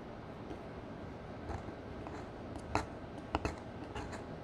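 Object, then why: Pressed powder eyeshadow in a palette, crushed with a metal spatula. A metal spatula, held in a hand with long nails, crushes a brown pressed powder eyeshadow square into chunks inside a black square eyeshadow palette. Faint scraping and crumbling over a low background hiss are broken by several short, bright, crunchy clicks that stop quickly. The powder breaks apart into pieces.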